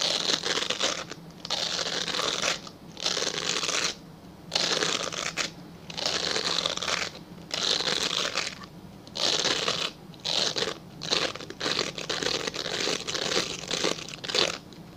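A translucent, solid glycerin soap bar held upright is scratched with fingernails. The sound is dry, bright, scratchy rasping in repeated bursts, separated by brief quieter pauses, with little low-end weight.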